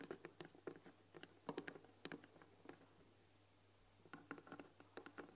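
Long nails tap and scratch on the front panel of a white painted wooden tea box with a glass lid, holding tea packets. Quick, dry clicks with a woody body and short bright ticks come in bursts, then pause for about a second before resuming. Faint scratching and a steady low hum sit underneath.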